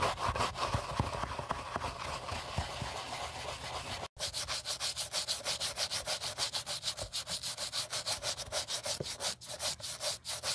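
A gloved hand holds a white leather Gucci Ace sneaker while a wooden-handled bristle brush scrubs its inside lining and outer side. About four seconds of dense, continuous scratchy scrubbing break for a brief silence, then give way to quick, rhythmic back-and-forth strokes at roughly three per second. The bristles produce a bright, hissy rasp over a faint low rumble.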